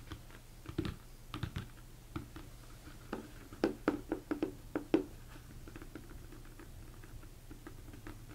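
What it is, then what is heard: Empty plastic bowl, hollow. Fingertips tap quickly on the top of a large, hollow, empty mixing bowl, likely plastic, turned upside down. About nineteen short, dull taps land in uneven bursts, each with a hollow low-mid tone that dies almost instantly. A steady low hum sits underneath.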